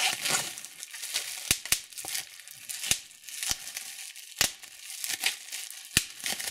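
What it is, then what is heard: Plastic bubble wrap being popped. Thumbs and fingers pinch and pop the air bubbles in clear plastic bubble wrap gathered in a fold. Sharp, bright snapping pops stand out over a steady high crinkling and rustling of the plastic, with each pop dying away almost instantly.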